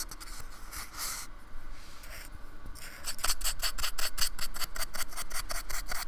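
A paintbrush is rubbed and rasped along the edge and top of a small, solid, flat slab of white polystyrene foam with a painted surface, held by fingertips on a wooden table. Soft, uneven brushing comes first, then about halfway through it turns into a quicker, louder run of bright, scratchy rasping strokes.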